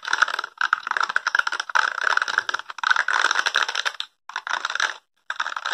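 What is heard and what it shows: Fingertips and nails scratch and rub the dense short spikes of a small, solid, handheld blue plastic or rubbery spiky brush held close to the microphone. A rapid, crackly stream of tiny clicks and scratches centers in the midrange with a bright top and no low end. It comes in bursts with brief silent gaps near the end.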